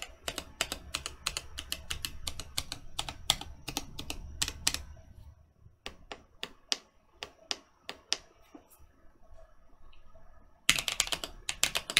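Fingertips press keys on a Mercutio 40% mechanical keyboard with Boba U4T switches and plastic keycaps, first with one hand and then with both. Quick, sharp, bright tapping opens the clip, slows to separate, evenly spaced key presses with short gaps, and ends in a dense, louder burst of fast typing. Each tap is short and dry with little ring.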